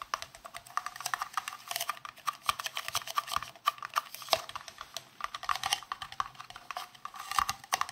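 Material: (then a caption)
Plastic. A hollow, green translucent round plastic case, held in both hands, is tapped quickly with the fingernails. The result is a rapid, irregular patter of light, crisp clicks with a hollow, mid-pitched ring near 650 Hz and bright upper edges. There is almost no low end.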